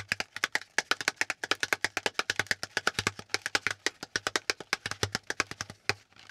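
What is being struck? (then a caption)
Corrugated cardboard packaging insert. Fingertips and nails rapidly tap and scratch the hollow pleated ridges of a brown corrugated cardboard packaging insert held up close. About 46 quick, dry, papery taps with a bright, crisp edge centered near 1.6 kHz die away almost instantly, forming a fast, steady clatter.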